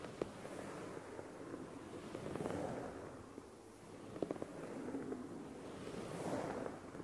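Fingertips and nails scratch across a dark grey dotted fleece blanket lying flat, its soft fabric surface brushed in sweeping motions. The result is a quiet, muffled scratchy rustle that swells and fades with each sweep, with a few small sharp crackles standing out.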